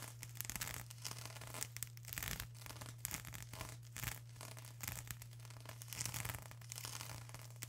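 Long acrylic nails scratch and rub across a flat sheet of plastic bubble wrap, making quiet, bright crinkling and scraping in short, uneven bursts. A steady low hum sits beneath the scratching throughout.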